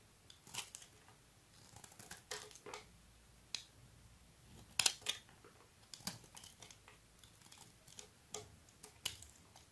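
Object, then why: Bar of soap scraped with a metal blade. A solid, hand-sized rectangular bar of blue soap is held in one hand while a flat metal blade scrapes and carves thin shavings off its surface. About a dozen short, crisp, bright scraping strokes come in quiet, separate bursts with almost no low end and no ring, with one sharper cut near the middle.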